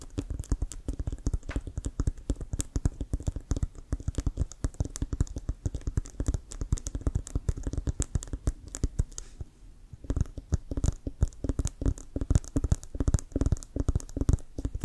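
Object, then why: Composite leather American football. Fingertips and nails rapidly tap and scratch a full-size, inflated, hollow brown Wilson composite leather American football with laces, held in front. The dense, dull, low thuds die away almost instantly, with faint scratchy ticks between them. There is a brief lull near the ten-second mark before the tapping resumes.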